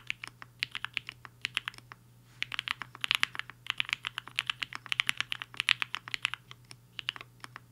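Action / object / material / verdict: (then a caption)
tap / mechanical keyboard with plastic keycaps / plastic / none. Fingertips of both hands type on a black-cased, hollow 75% mechanical keyboard with white and pink plastic keycaps resting on a desk mat. Quick, bright, clacky keystrokes come in steady bursts, with a brief pause near the two-second mark. A faint low hum runs underneath throughout.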